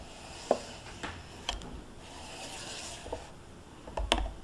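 Long painted nails tap and scratch the foil lid of a small sealed plastic yogurt cup standing on a cloth, with a spoon lying untouched beside it. Six short, crisp taps with a papery click around 570 Hz stand out over a soft, bright crinkling scratch across the foil.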